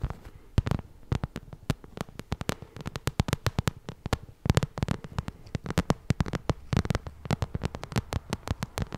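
Long red nails tap and scratch across a small, hollow, shiny pink vinyl cosmetic pouch. Quick, dry taps land in uneven bursts throughout, each with a soft, low, hollow thump, between faint scratchy rustles.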